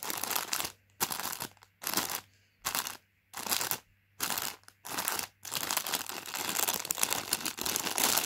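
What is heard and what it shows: A hand crinkles and squeezes a full Space Raiders crisp bag made of foil-lined plastic film, producing bright, crackly crunching that is mostly high in pitch. The sound comes in seven short bursts separated by near silence with a faint low hum, then becomes a continuous crinkling for the last three seconds.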